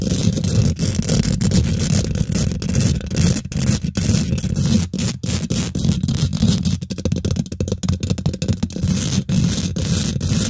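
Long nails and fingertips on both hands rapidly scratch and tap the domed, hollow woven metal mesh grille of a large silver condenser microphone. The result is a dense, continuous scratchy rustle, heavy in low rumble around 176 Hz, with a fainter bright hiss on top. It is broken by many quick tapping clicks and brief gaps, especially in the middle of the clip.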